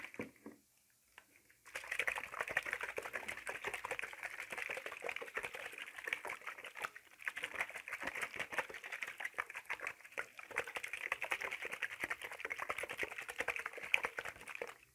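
A hollow clear plastic spray bottle with a black trigger head, partly filled with liquid, is held in one hand and shaken rapidly so the liquid sloshes inside. After a near-silent opening of faint ticks, a dense, continuous rattling slosh begins at about 1.7 seconds, bright and concentrated around 2.4 kHz, with no low end. It briefly dips near 7 and 10.5 seconds before running on steadily to the end.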